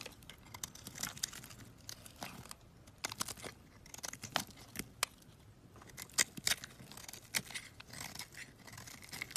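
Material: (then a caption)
Soap. A solid coral-red bar of soap is scraped with a box-cutter blade, making quiet, dry, crisp scraping and crackling sounds. Bursts of short, bright scrapes with almost no ring sit over a soft background hiss, with a few sharper, louder strokes standing out.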